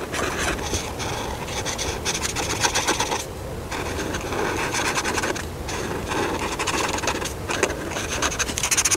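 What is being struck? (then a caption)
Felt-tip marker on thin paper. A hand rubs a felt-tip marker back and forth over a thin paper coloring book page, filling in the rug and cushion of a room drawing. The strokes make a steady, bright, raspy scratching with a couple of brief pauses, then the marker-on-paper rubbing continues.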